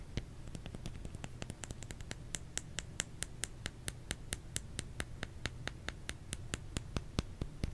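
A solid bar of soap is tapped with the fingers in a quick, loosely irregular run of about two taps per second. Each tap is a short, dry, bright click with almost no ring, heard over a steady low rumble at a quiet level.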